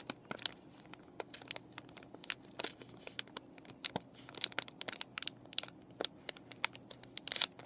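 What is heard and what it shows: A clear plastic and cardboard paintbrush package with brushes inside is scratched with fingernails and crinkled by fingers. Quick, sharp, bright crackles and crinkles pop out irregularly over a soft, hissy background, with almost no low end and no ring after each snap.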